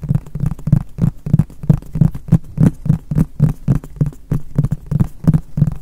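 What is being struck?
Polypropylene plastic storage box.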